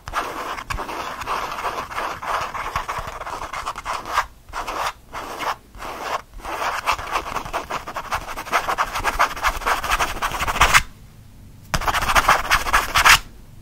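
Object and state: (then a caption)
Faux leather change purse. Fingernails scratch fast across the surface of a small, soft, lilac faux leather change purse with stitched edges, held in one hand. The result is a dense, rapid, dry scratching and rasping with a bright upper-mid tone. It breaks off in a few short gaps around the middle, goes quiet for about a second near the end, then returns in a final loud burst.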